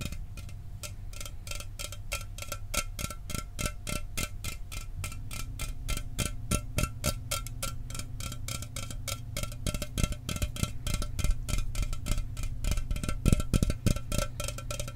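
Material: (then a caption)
Aluminum. An unopened standard aluminum Mountain Dew can is held in front of a microphone and tapped quickly with fingertips and nails. The rapid, somewhat uneven stream of short, dry metallic ticks has bright clicky tops over a steady low rumble, and each tap dies away almost instantly.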